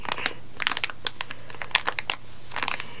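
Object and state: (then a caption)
Plastic candy bag. Long painted gel nails and fingertips scratch and press a sealed, candy-filled plastic-film Haribo Vampire gummy bag lying flat on a tablecloth, making about thirteen short, bright, crisp crinkles and clicks in quick, uneven bursts. Each sound dies away instantly over a faint, steady low hum.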